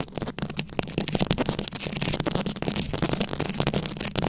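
Long acrylic nails tap and scratch over the plastic beads of a fist-sized, beaded rhinestone-covered microphone head. The result is a steady, dense stream of close, crackly clicks and rustling scrapes with a low, boomy body underneath.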